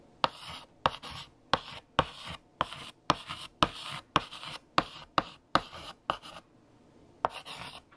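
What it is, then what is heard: Chalk writing on a chalkboard. A pale yellow chalk stick is written across a large flat black chalkboard by hand. There are 15 sharp taps, each followed by a short bright scratching stroke, with a quiet pause near the end before the writing resumes.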